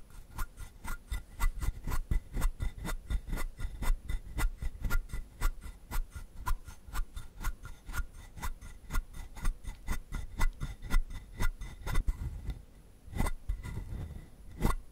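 A palm-sized hollow carved wooden frog has its ridged back and sides scratched with fingertips and short nails. About 44 short, dry, raspy strokes come at roughly two per second in an uneven rhythm, each with a hollow low thump and a bright scratchy edge that dies away almost at once. A brief lull near the end is followed by a few louder scrapes.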